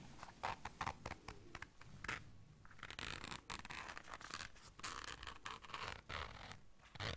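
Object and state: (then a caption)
Fabric zipper case. Long dark nails zip and scratch a small round black fabric zipper case held in the hands. Quick, quiet raspy ticks and scrapes give way to longer bright zipping runs, broken by short pauses.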